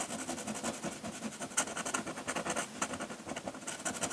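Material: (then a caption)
Paper. A metal dip-pen nib scratches hatching lines across a flat sheet of drawing paper, with the hand resting on the paper. A rapid series of dry, bright scratching strokes follows, each short and crisp with almost no low end.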